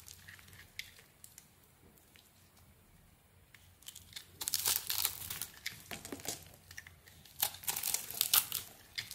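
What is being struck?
Bar of soap.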